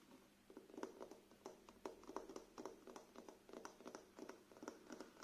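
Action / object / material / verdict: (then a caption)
tap / paperback book with glossy card cover / card / none. A paperback book with a glossy card cover, held in the hands, is quickly tapped with fingertips and nails. The result is a soft, quiet run of short, dry clicks and patters, each with a brief bright edge and a low-mid body around 380 Hz, fading almost instantly.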